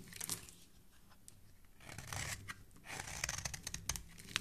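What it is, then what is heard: Bar soap being scraped. A metal utility-knife blade is scraped repeatedly across the face of a solid oval yellow bar of soap held in the hand, with the shavings falling onto a wooden surface below. The quiet, dry scrapes sound crisp and bright, like fine tearing and crinkling, and come in uneven bursts with short gaps between them.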